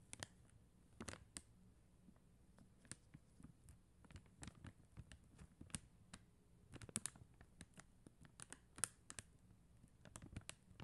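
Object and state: Acrylic rhinestone sticker sheet.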